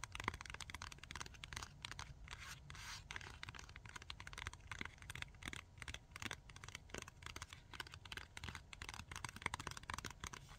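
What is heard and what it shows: Long nails rapidly tap and scratch a flat Tack-it pack that has pink adhesive strips under a plastic cover and a card backing. The result is a dense run of short, crisp, bright plastic clicks and scrapes with no ring, over a steady low rumble.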